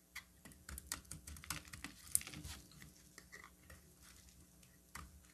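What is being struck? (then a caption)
Solid bar of soap cut with a metal blade. A metal utility knife blade carves a solid pink bar of soap into flakes. Crisp, bright scraping and clicking cuts come at an irregular pace, some sharper than others, over a faint low hum.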